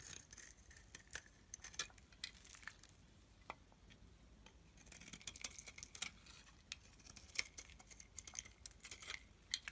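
A solid yellow-tan bar of soap, held in the hand, is scraped with a metal blade. The result is quiet, bright, crisp scratching made of many short, dry clicks and shaves that sit mostly in the high range around 2 kHz. The cuts come in irregular bursts with almost no ring and very little low end.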